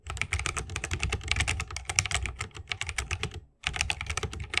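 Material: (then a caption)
Plastic, bamboo. Fingertips of both hands type rapidly on a 60% mechanical keyboard with plastic keycaps and tactile Holy Panda switches, set in a solid bamboo wooden case resting on a wrist rest. A fast stream of short, bright clacks sits over a deep, low thock, with a brief silent pause near the end before the typing resumes.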